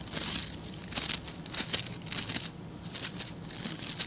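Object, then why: Plastic bristle scrub brush. A hand-sized blue scrub brush with stiff white-and-blue plastic bristles is held in one hand while the fingertips and nails of the other scratch and flick across the bristles. The result is bright, crinkly scratching in irregular bursts of rapid flicks, with brief quieter gaps between them.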